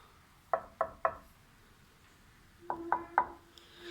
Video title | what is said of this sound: Restauration L200 épisode 1 - rouille perforante sur châssis | J'ai donc juste soudé une tôle de 2 mm, et 2 mm c'est trop petit, simplement. Ça sonne un peu plus creux.